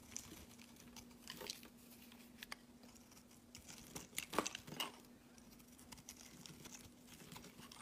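A hand-held green rectangular solid soap bar is sliced into thin curled shavings with a metal utility blade. Quiet, bright, crisp scraping and crunching cuts come at an irregular pace, with a louder cluster near the middle, over a faint steady low hum.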